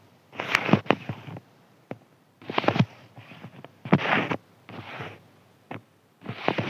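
A fingertip scratches a thin, white, crinkly sheet of paper in several separate bursts of rough, crackling rustle. Brief single crinkle ticks fall between the bursts, with quiet pauses in between.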